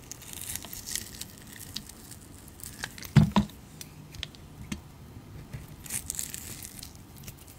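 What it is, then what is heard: Glycerin soap being shaved with a blade. A round, solid, translucent glycerin soap disc with green glitter, held in the palm, has thin slices shaved from it with a utility knife blade. Soft scraping, crinkly shaving sounds and faint high crackles continue throughout, with a pair of louder, low-heavy cuts near the middle.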